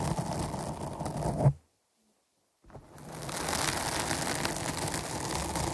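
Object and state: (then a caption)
Foam microphone windscreen being scratched. Long nails of both hands scratch the sides of a dark foam microphone windscreen, producing a dense, close, bassy rustling scrape. The scratching cuts to near silence for about a second, then resumes steadily with a brighter, hissier texture.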